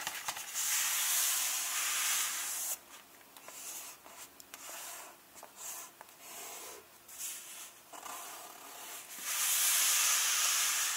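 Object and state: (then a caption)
Paper book pages. Flat hands and fingertips rub and lightly tap the paper pages of an open hardcover book lying on a chapter-opening spread. Bright, hissy rubbing fills the opening seconds, gives way to quieter scuffs and soft taps, then returns louder at the end.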